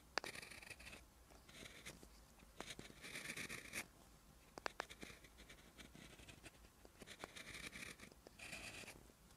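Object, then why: Gel pen on a notebook paper page. A plastic gel pen tip writes Korean letters on the lined white page of a spiral notebook lying flat and solid on a desk. Bursts of bright, steady scratching are broken by sharp ticks as the tip touches and lifts from the paper, with short quiet gaps between strokes.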